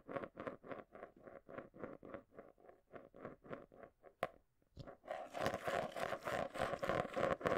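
A marble rolls and scrapes around the inside base of a small, round, hollow clear plastic container held and tilted in both hands close by. It first makes a steady rhythm of rolling, rumbling swells with a hollow ringing tone, then a sharp click and a brief pause. After that comes a faster, denser, brighter continuous rattle as the marble circles.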